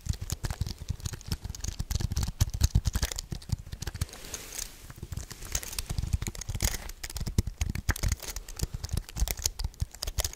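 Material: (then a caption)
Plastic. A white wireless keyboard with a thin aluminium frame and plastic keys, held upright close to the microphone with both hands, is tapped and pressed with fingertips and nails. The result is a dense, continuous patter of short, dry clicks with a deep low thump under bright crisp ticks.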